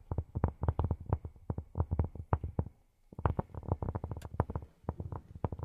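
Cork is tapped with silicone rubber pads on the fingertips, giving a rapid series of soft, dull, low thuds with almost no ring. The taps run steadily, pause briefly around the middle, then continue in quick bursts.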